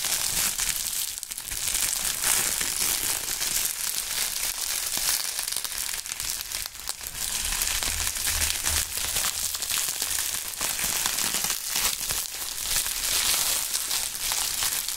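A large sheet of clear polyethylene bubble wrap, light and air-filled, is held in both gloved hands and crinkled and squeezed with the fingertips. It makes a steady, dense, bright crinkling and crackling that runs for the whole clip, with almost no low end and only small swells in loudness.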